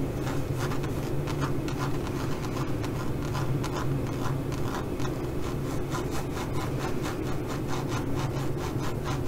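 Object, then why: Pebbled faux leather pouch. Long nails scratch and rub across a tan leopard-print zippered pouch made of pebbled-grain faux leather. The result is a steady run of quick, rhythmic scratching strokes, about two or three per second, over a constant low hum.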